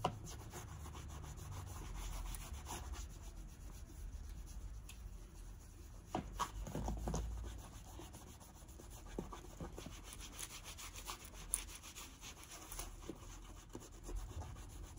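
A white cloth is rubbed continuously over the toe and vamp of a tall brown leather boot worn on the foot, buffing it to a shine. The quiet, steady rubbing and swishing has a low, soft body, a faint brushy high hiss and small scuffing taps throughout.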